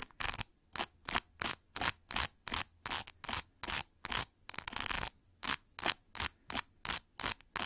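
Long nails flick and scratch across the plastic pin tips of a large metallic pink plastic paddle hair brush with a white rubber cushion. Short, bright, crackly scraping bursts repeat at nearly three per second, with one longer continuous scratch midway. Each burst cuts off quickly with almost no ring.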